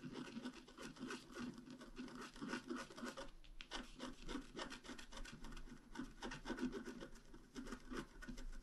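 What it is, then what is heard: Coated scratch art paper. A pointed wooden stylus scratches flower details into a flat, black-coated scratch art card about A4 in size. Quick, dry scraping strokes follow one another in a steady rhythm, with a soft, papery rasp and a slight low-mid body. The strokes run on with only a brief pause partway through.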